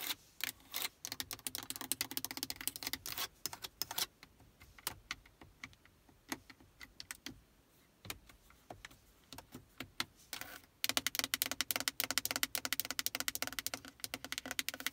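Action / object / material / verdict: tap / hard plastic car stereo faceplate and buttons / hard plastic / none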